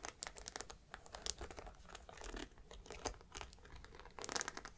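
Long black nails tap and scratch the metal studs on the curved top edge of a grey suede handbag. Quiet, dense bursts of bright clicks and crinkly scratching run throughout, with a few sharper taps standing out.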